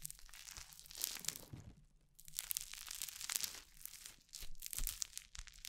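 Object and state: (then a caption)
Crunchy foam-bead slime (floam). A soft handful of orange crunchy foam-bead slime (floam) is held close to the microphone while long painted nails knead it: stretching, squeezing and pressing it between the fingertips. The result is dense bursts of bright, crackling crunch and tearing-like pops in waves, separated by brief quieter pauses.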